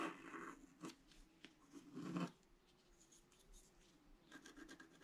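A pointed wooden stick scratches across a flat scratch-art page, a black coating over colored paper. Short, dry, rasping scrapes come in uneven strokes, with a longer, louder scrape near the middle and quieter scratching between. A steady, faint mid-pitched tone runs underneath.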